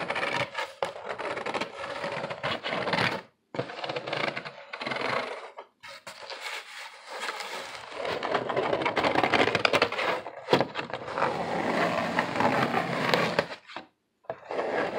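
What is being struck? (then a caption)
Corrugated cardboard sheet. Fingertips tap and scratch the surface of a large, flat, brown corrugated cardboard sheet standing upright. The result is dense, dry, papery scratching with quick, irregular taps that die away almost instantly, mostly in the mid and bright range with little low end. Brief silent pauses separate the bursts.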